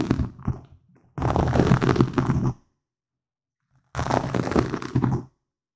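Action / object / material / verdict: scrape / foam microphone windscreen / foam / none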